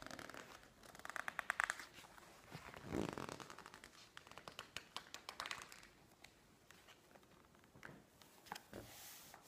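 Fingertips and long manicured nails rub and press the pages of a thick open glossy-paper magazine resting on a wooden table, and a page is turned. The result is quiet, dry scratching and crinkling, with rapid crisp nail ticks and a brief papery swish as the page flips, all close-up with almost no low end.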